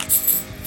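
A larger metal board game coin worth 5 scrap is dropped, giving two quick bright metallic clinks with a short ring. It sounds like real, heavy money.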